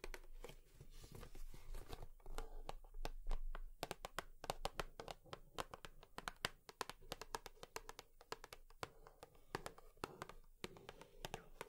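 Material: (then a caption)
Cardboard. A cardboard tissue box is tapped with long nails, giving a rapid, irregular stream of sharp, crisp clicks with brief scratchy rustles between them. The taps die away almost instantly over a faint low hum.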